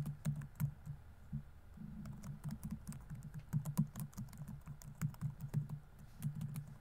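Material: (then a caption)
Plastic. Fingertips rapidly tap the plastic keys of a laptop keyboard on a grey laptop body, producing a quick, irregular patter of short, dull clicks with a low thud under each press. The keystrokes come in uneven bursts with brief pauses, each dying away almost instantly.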